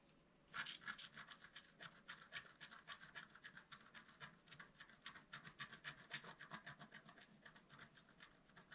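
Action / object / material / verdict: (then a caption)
scrape / black-coated scratch-art card scratched with a wooden stylus / coated paper / none. A wooden stylus scratches the coating of a flat, black-coated scratch-art card in quick, fairly steady strokes, about three to four per second. After a brief quiet start, each stroke makes a short, bright, dry rasp with almost no low end and no ring.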